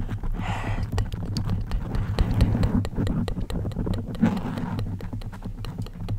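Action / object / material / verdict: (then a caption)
scrape / foam microphone windscreen scratched by fingernails / foam / none. Long acrylic nails on both hands scratch a soft, hollow-backed black foam microphone cover. The result is a dense, uneven rustling and scraping with a heavy low rumble, dotted with quick, sharp clicks and brief bright hiss.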